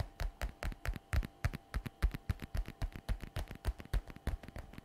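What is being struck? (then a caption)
Patent faux leather shoulder bag flap. Long red nails tap quickly on the shiny flap of a glossy black patent (faux) leather messenger shoulder bag lying flat. About thirty short, dull taps come at an uneven, brisk pace. Each is a soft, low thud with almost no ring.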